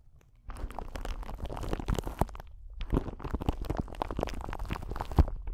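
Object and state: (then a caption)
Clear crystal ball (glass or acrylic). A clear crystal ball, a solid sphere that may be glass or acrylic, is held in both hands close to a microphone and scratched and tapped with long nails. Dense, low, rumbling scratches and crackles come in two stretches with a short pause near the middle, and a sharper tap stands out near the end.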